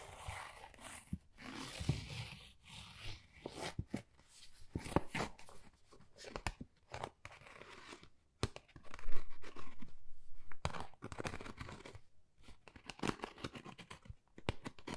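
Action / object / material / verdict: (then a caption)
scrape / thin textured cardboard folder / cardboard / none. Long nails scratch a flat, pale pink, pebble-textured Dior cardboard folder, thin and hollow, held in the hands. Dry crackling scrapes and short taps come in uneven bursts, with a louder, denser stretch of scratching partway through.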